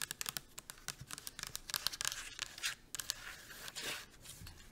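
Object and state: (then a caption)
Plastic shampoo bottle. Long acrylic nails fast-tap and scratch along the body of a pink plastic shampoo bottle held sideways. Quick, dry, bright clicks come in rapid bursts, mixed with raspy scratching that blurs into a longer scrape near the end. The sound is quiet and crisp with almost no low end.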